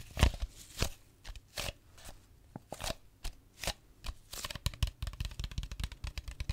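A mostly empty clear plastic drink bottle with a red cap and label is held in the hand close to a microphone while fingers squeeze, crinkle and tap it. Short, bright crinkling bursts and dull low thuds come at first in separate spaced bursts, then turn into a quicker run of dense taps and crackles toward the end.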